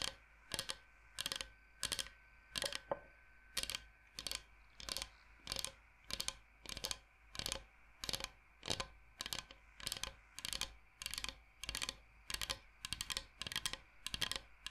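Fingernails tap fast on the surface of a large, flat, solid bamboo cutting board shaped like Michigan. The result is quick runs of sharp, bright, clicky taps, grouped in short bursts at a steady pace, that stop dead with almost no ring. A faint steady hum sits underneath.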